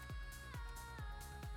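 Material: Nothing is struck.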